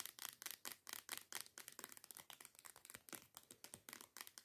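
Long nails rapidly tap and scratch a teal plastic body scrub bottle that lies on its side and appears filled. The result is a quick, uneven run of crisp, bright clicks and scratchy rasps with almost no low end, each dying away almost at once.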